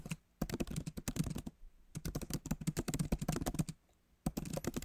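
Fingertips of both hands tap the plastic keys of a backlit MacBook Pro keyboard set in a solid aluminum body. Three bursts of rapid, dry, short clicks are heard, with brief quiet pauses between them. The key strikes sound low and muffled, with little ring after each tap.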